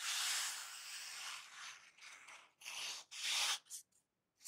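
A thin black open-cell packing foam sheet is rubbed and squeezed with fingertips and nails, making a bright, airy scratching hiss with almost no low end. A long steady rub fades into shorter, separate bursts of scraping texture, with brief silences between them.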